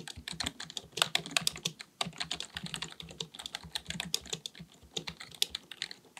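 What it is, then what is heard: Plastic computer keyboard being typed on. Both hands type continuously with their fingertips on a black full-size plastic keyboard on a desk, likely mechanical with a hollow body. Rapid, bright, clicky key taps pile up in a dense, uneven stream, each one short and dry over a faint low thump.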